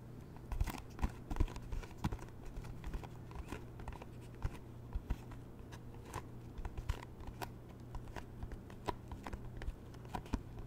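A round, hand-sized white plastic food tub with a green printed lid is held in both hands and tapped rapidly on its lid and sides with long painted fingernails. Quick, sharp clicks and taps sound irregularly over a steady low hum, with a few louder taps standing out.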